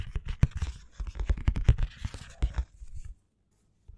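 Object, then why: Paperback book with matte paper cover. Fingernails scratch and tap the front and back of a black paperback book with a matte paper cover and a solid paper block, including the barcode area. A dense run of dull, close-sounding scratches and taps, mostly low and muffled, goes on for about three seconds and then stops. After a brief silence, one faint tap follows.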